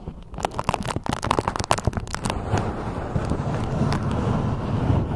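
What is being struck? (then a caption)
Beeswax-coated cotton food wrap. A beeswax-coated cotton food wrap is folded while long nails scrape and scratch the waxed fabric. Sharp, bright crackles pop out over the first two seconds or so, then the sound settles into a denser, continuous crinkling rustle with a soft low-end rumble.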